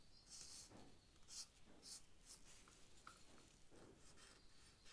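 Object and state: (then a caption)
Charcoal stick stroked on sketchbook paper. A charcoal stick is stroked over the paper of a sketch pad while drawing a leaf. Quiet, dry, bright scratching strokes come in short bursts over a soft low rumble. The strokes are brief and rasping, with almost no ring after each one.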